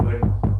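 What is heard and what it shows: Two dull knocks on a wooden surface, heard over a steady low hum. Each knock is a short, low thud centered around 100 Hz that dies away quickly.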